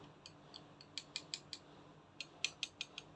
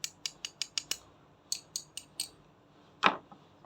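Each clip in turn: First: Light, dry clicks with no ring, the thin high tick of hard plastic on an action figure part. Second: Bright, clicky metallic ticks from a small toy foot part, which sounds like die-cast metal rather than plastic.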